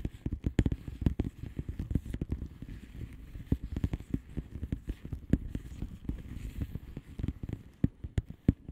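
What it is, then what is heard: Plastic bubble wrap envelope. Long polished nails on both hands tap and scratch across a flat padded envelope with a plastic bubble wrap surface. Dozens of quick, dry clicks and crackles come in an uneven, rapid patter, with soft scratching between them. The sound is mostly low and dull, and each tap stops almost instantly.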